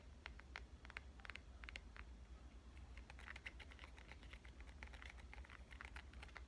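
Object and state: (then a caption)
Glass and metal smartphone. A black glass-and-metal smartphone without a case is held upright and tapped with long painted nails on its face and edge. The result is a rapid run of short, bright clicks over a steady low hum.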